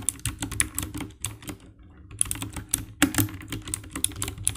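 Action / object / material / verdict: tap / plastic mechanical keyboard / plastic / none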